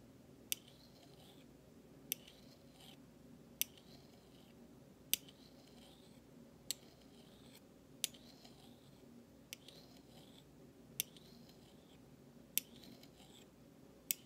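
A large stainless steel spoon bowl of thin solid metal is held vertically and scraped and tapped with the flat metal handle of another utensil. Eleven sharp, bright metallic taps ring out at steady intervals, each dying away almost instantly. Soft, high, sweeping scrapes fill the gaps between them over a quiet background.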